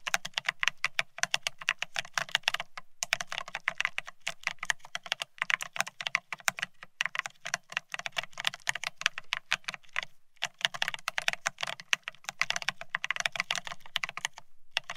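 Fingertips type fast on a beige plastic split ergonomic keyboard, producing a rapid stream of bright, crisp key clicks. The clicks come in quick bursts separated by brief pauses, each tap short and dry with a faint lower thud beneath.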